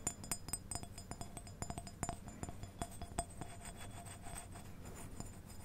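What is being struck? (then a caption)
Glazed ceramic figurine. Long painted fingernails tap a quick, irregular series of light clinks on a small white glazed ceramic deer figurine with gold antlers, likely hollow, held in the other hand. Each tap is a bright, glassy tick that dies away almost at once, over a soft low hum.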